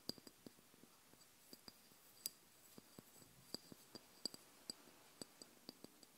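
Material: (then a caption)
Glass. Long blue nails tap and scratch the side of a small, hollow amber glass oil bottle filled with liquid. About 17 quiet, crisp taps with a high, bright glassy ping sound over a faint scratching hiss. Each tap dies away almost instantly.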